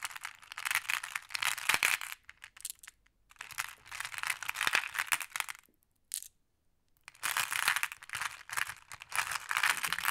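Small, solid, flat glass decorative pebbles in clear, blue, black and amber are heaped in a wooden tray, while one hand holds a handful of green glass pebbles and the other picks through the pile with fingertips and long painted nails. Dense, bright glassy clicking and clattering comes in three bursts, separated by short quiet pauses.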